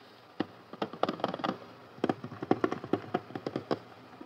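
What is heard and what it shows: Fingertips and short nails tap and scratch the lid and front of a closed, medium-size, white and pink hard plastic toy doctor carry case, hollow with toys inside. About eighteen dry, hollow clicks and taps come in an uneven rhythm with faint scratching between them. Each tap dies away almost instantly.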